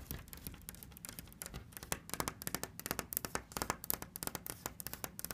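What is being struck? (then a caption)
Painted wooden cabinet door. Long red nails tap and scratch a hollow, orange-brown wooden cabinet door painted with Egyptian hieroglyphs and fitted with a small black knob. A quick, irregular run of short, dry clicks and taps with bright scratchy edges comes over a faint low rumble, and each hit dies away almost instantly.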